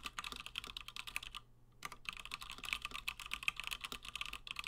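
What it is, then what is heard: Mechanical keyboard with PBT plastic keycaps. Fingertips of both hands type fast on a 60% plateless Gingham mechanical keyboard with Gateron Black switches and cream and blue PBT plastic keycaps. A dense run of short, bright clacks pauses briefly near the middle, then resumes just as quickly. Each keystroke dies away almost instantly.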